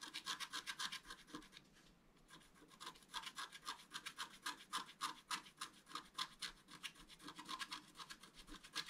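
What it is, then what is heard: Scratch-art paper card. A wooden stylus scratches and rubs the coating of a flat, black-coated scratch-art card with a fountain design, while the left hand steadies the card. Quick, rhythmic scratchy strokes give off a dry, bright hiss with almost no low end. The strokes pause briefly near the two-second mark, then resume in a steady run.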